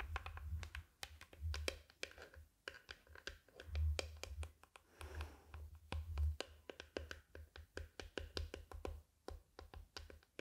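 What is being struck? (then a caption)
Hard-shell glasses case with faux-leather cover. A closed, black, hand-sized hollow hard-shell glasses case covered in faux leather is held flat in one hand while long nails tap and scratch its top surface. Quick, dry, irregular taps with almost no ring mix with soft scratching and a low, hollow thump.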